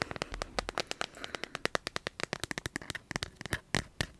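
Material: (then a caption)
Plastic. Fingernails tap rapidly on a smartphone in a clear plastic dragon-print case, first held upright and then laid flat. About 33 sharp, dry clicks come in quick, uneven bursts, each stopping almost instantly, with a mid-range knock and bright plastic tick.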